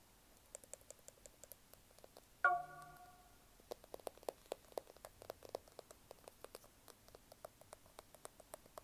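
Fingertips and nails tap and click on the back and edges of a small, solid smartphone in a black plastic case, producing a steady run of dry, light clicks. Partway through, a short, clear ringing tone with a midrange pitch and bright overtones sounds and fades within about half a second, and then the tapping resumes.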